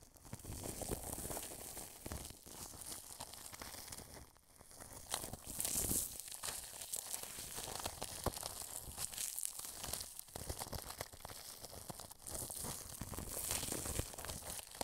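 A wide paintbrush rubs clear plastic cling film stretched over a white dome microphone, producing close, continuous crinkling and rustling. The sound is broadband with bright, hissy highs and dense crackles. It dips briefly around four seconds, then swells with brighter scratchy bursts before settling back into steady crinkling.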